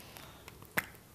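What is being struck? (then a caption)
Metal spray paint can. A can of hematite mica spray paint is shaken side to side rather than up and down, so the paint does not clog the nozzle. A few faint rattling clicks from the contents moving inside lead to one sharper, bright click with a very short decay, over a low background hiss.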